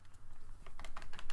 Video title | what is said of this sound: Snowwolf 218 | there's like a battery rattle when you like shake it